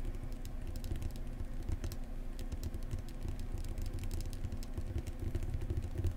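Long painted nails quickly tap and scratch along the spine of a thick, solid, closed paperback book. A steady run of soft, dense taps and scratchy ticks, with faint bright clicks, sits over a constant low hum.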